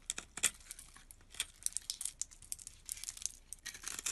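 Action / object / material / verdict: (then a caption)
scrape / bar of soap / soap / none. A utility knife blade scrapes across a solid teal bar of soap with a scored grid, held in the hand, and small cubes crumble off. The sound is a quiet run of crisp, bright scratches and crumbly crackles with almost no low end, each short burst cutting off with no ring.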